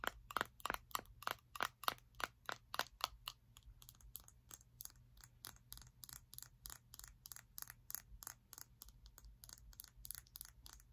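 A round glass jar full of honey with a metal lid is held in one hand while long acrylic nails tap and scratch on the glass. A quick series of sharp, bright clicks with a faint ring near 1.2 kHz comes first, then gives way to quieter, faster, lighter ticking and scratching against a low steady hum.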